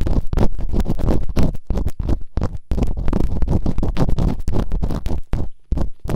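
Bamboo earpicks, held in fingertips with long nails, scratch and rub quickly inside both open canals of the two soft, solid rubbery silicone ears on a white binaural microphone. The result is a rapid, uneven stream of close, muffled scratching bursts with a deep thumping rumble, each stroke carrying a brief bright hiss. There are only short gaps between strokes.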